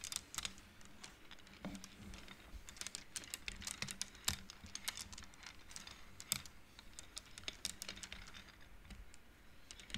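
Fingers and long nails push the small solid painted wooden beads of a wooden abacus along its metal rods, so the beads collide in a rapid, irregular stream of short, bright clicks. Each click dies away almost at once over a quiet, faint low background.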